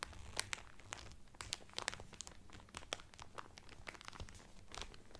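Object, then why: Cellophane film over a cotton towel. Two hands crinkle clear cellophane wrapped over a flat cotton Carnival Cruise towel, working the film with fingertips and nails. Dense, quiet crinkling carries sharp, bright crackles and snaps over a soft low rustle, with no ring after each crackle.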